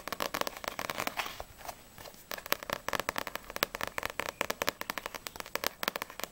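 Long grey-painted acrylic nails fast-tap the glossy printed card cover of a single small paperback manga volume (No.6), a solid stack of paper pages, first on the front cover and then on the back. Rapid, dry, bright clicks come in quick bursts with almost no ring, and a brief softer, scratchier stretch falls in the middle before the tapping resumes.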